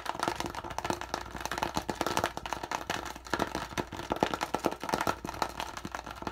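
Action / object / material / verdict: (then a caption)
tap / thin plastic water bottle / plastic / none. Fingertips rapidly squeeze, crinkle and tap the thin walls of an empty, hollow, medium-size clear PET plastic water bottle with a yellow cap and a partly peeled label. The result is a fast, dense stream of sharp crackles and dry taps centered in the mid range, each dying away almost instantly, over a faint steady low hum.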